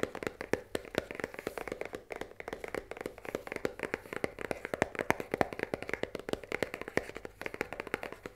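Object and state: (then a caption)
Cardboard pasta box. Long nails tap rapidly on the top side of a full cardboard risoni pasta box lying on a table. The result is a quick, steady run of dozens of crisp, dry clicks with a papery midrange knock and no ring.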